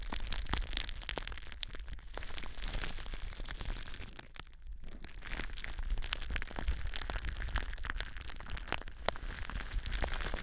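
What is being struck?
Plastic bubble wrap.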